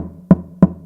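Two taps on the wooden top of an unfinished guitar sound box, each giving a short, low, dull knock centered near 184 Hz. A faint low hum sits under and between the taps.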